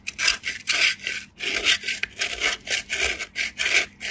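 A small solid pale piece of soap is rubbed by fingertips with light-blue nails against a perforated stainless-steel box grater, with shavings falling. Repeated rasping strokes come in a steady rhythm, each a bright, dry scrape concentrated in the high range with no low-end body.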